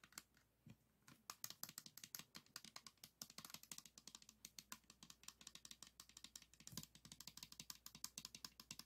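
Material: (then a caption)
Plastic. A 3x3 plastic speed cube held in both hands is tapped rapidly with fingertips and nails on its white and green faces. About 62 short, bright clicks come in a fast, uneven stream, with almost no low end and no ring after each tap.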